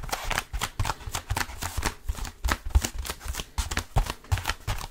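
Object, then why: Foam roller. Fingertips grip, scratch and tap the textured surface of a blue foam roller. A rapid, uneven series of soft, dull thumps and brushy scrapes follows, weighted toward low tones with brief crackly high edges. Each sound stops almost instantly.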